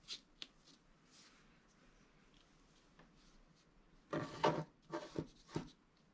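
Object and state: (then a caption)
Scratch-art card being scratched. A wooden stylus scratches a flat coated scratch-art sheet. Faint, light ticks and soft rubbing at the start give way to louder, raspy scraping strokes in the last two seconds. The strokes are dry and bright, and each one stops short with little ring.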